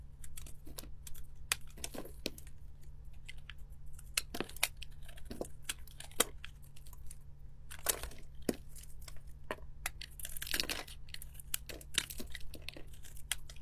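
A utility-knife blade scrapes curled flakes off a solid pink bar of soap, partly shaved down and held in the hand, as the shavings pile up on a marble surface. Dry, crisp crackles and sharp bright ticks come in quick irregular bursts, with a denser scraping rush near the end, over a steady low hum.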